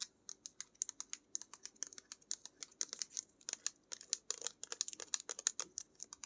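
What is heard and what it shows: A blue-labelled paint tube, likely laminated plastic, is held sideways and tapped and scratched with long nails. Dozens of quick, crisp clicks and light scratches sound bright and thin, with almost no low end. Each one stops at once.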